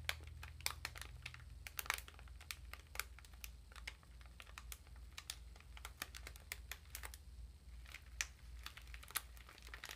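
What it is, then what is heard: Plastic-wrapped sponge package. Fingertips and long nails of both hands press and crinkle the clear thin plastic wrap sealing a small dark sponge. Quick, sharp, bright crackles and clicks come in an irregular stream over a steady low hum, each snap dying away almost at once.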